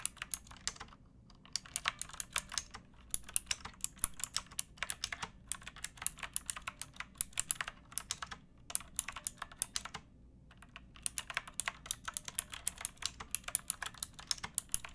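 Fingertips and long painted nails type on a pink backlit plastic mechanical keyboard with round typewriter-style keycaps and a hollow case. Rapid bright, dry clicks and clacks come in bursts separated by brief pauses, with a soft low hum underneath.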